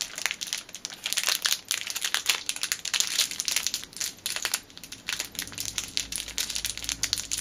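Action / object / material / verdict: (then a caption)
scrape / clear plastic bag with a rubber band inside / plastic / none. A clear plastic packet holding a black rubber band is crushed and crinkled tightly between the fingertips. Dense, bright crinkling and crackling comes in rapid, uneven bursts with almost no low end, each crackle dying away almost instantly.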